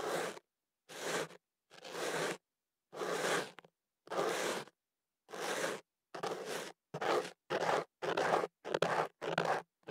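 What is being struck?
Kenaf paper tube around a microphone, scraped with an ear pick.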